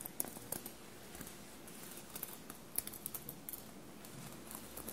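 Long blue-painted nails scratch and tap across a bunched navy cotton shirt covered in small silver paillettes. The result is a quiet, soft, steady scratching, broken by scattered sharp, bright clicks and ticks that stop instantly with no ring.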